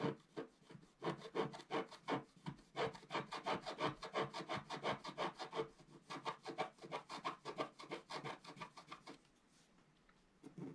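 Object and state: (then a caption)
Scratch art paper being scratched. A wooden stylus scratches lines into the black coating near the top corner of a flat, thin, solid scratch art paper sheet lying on a table, while the other hand rests flat on the sheet. The quick, fairly regular back-and-forth strokes make a dry, raspy midrange scratching with bright edges, about three per second. The strokes stop near the end, leaving a brief quiet before one last faint scrape.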